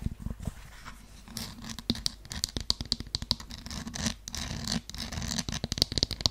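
Long yellow nails scratch and tap across the straps, heel and sole edge of a beige faux suede high-heeled sandal. A dense run of quick, dry scratches and clicks is heard, with a bright rasping texture over a faint low hum.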